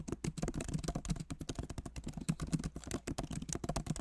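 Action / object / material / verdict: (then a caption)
tap / laptop keyboard with plastic keys / plastic / none. Both hands type rapidly with their fingertips on the plastic keycaps of a backlit MacBook Pro Magic Keyboard set in an aluminum body. The result is a quick, uneven stream of soft, muted clicks and taps with a low, dull body and very little brightness. Each tap dies away almost instantly.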